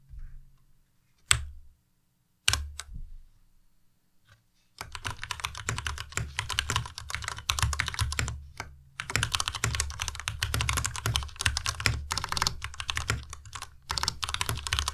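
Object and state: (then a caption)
Plastic mechanical keyboard. A white compact Ducky Miya Pro mechanical keyboard with plastic keycaps is typed on with the fingertips of both hands. A few sharp, isolated key clacks come first, then from about five seconds fast, continuous typing fills the rest of the clip with bright, crisp clicks over a low thud.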